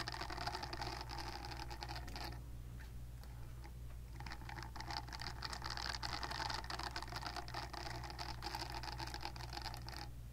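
Long nails scratch steadily across the bristled nubs of a purple-pink silicone facial cleansing brush held close to the mic. The result is a continuous fine, papery scratching texture with bright hiss, steady low hum underneath, and a brief dip in the scratching around the second to fourth second.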